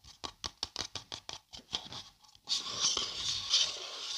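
A hollow printed paper coffee cup is held and turned in the hands while long dark nails scratch along its side. A quick, uneven run of separate, bright, dry scratches gives way after a short pause to a louder, continuous high rasping scrape that lasts to the end.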